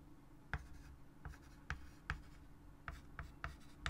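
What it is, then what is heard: Chalk writing on a wood-framed chalkboard. A white chalk stick held in the fingers writes on a large wood-framed chalkboard, a solid flat board, making eight short, separate scratch strokes. Each stroke is a quick dry tap-and-scrape with a low thump and a brief bright scratch, set over a quiet, steady low hum.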